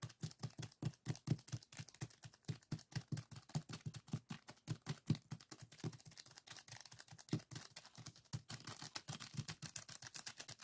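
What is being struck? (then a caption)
Plastic zip-lock bag filled with coarse sand. Fingertips and short nails of both hands press and scratch across a small clear plastic zip-lock bag full of coarse purple sand granules, lying flat on a wooden table. It makes a steady run of quick, crisp crunching and scratching strokes, each with a soft low thump under a bright gritty hiss. The bursts cut off almost at once, with no ring between them.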